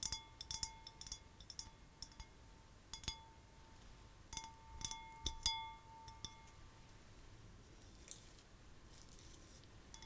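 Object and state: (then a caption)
Glass vase. Long white-painted nails tap a clear, hollow, empty glass vase held in the hands, with twine wrapped around its narrow end. Quiet, bright clinks come in uneven clusters, some leaving a thin ringing tone near 900 Hz with higher overtones that lingers for a second or two, over a faint background hiss.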